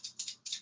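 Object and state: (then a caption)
Coin and coin shell shaken together, sounding like two coins. A metal coin and a coin shell are shaken together in a hand, with the shell held against the fingertips. Four quick, bright metallic clinks are heard, each decaying fast. They sound like two real coins, without a tinny sound.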